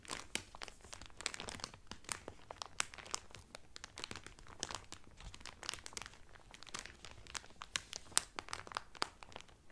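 Fingertips press and crinkle the edges of the clear cellophane wrapper around a blue Carnival cotton towel folded flat. The result is a dense, continuous run of sharp, bright crackles and crisp snaps, with little low end, and each crackle dies away almost instantly.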